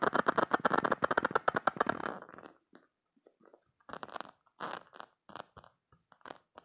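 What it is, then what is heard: Silicone spiky stress toy. Short painted nails scratch and squeeze over the spike rows of a soft, squishy, hand-sized green silicone spiky stress toy. A dense run of fast, crackly scratching strokes fills the first two seconds. It is followed by quieter, scattered rubbery scrapes and squeaks with short pauses between them.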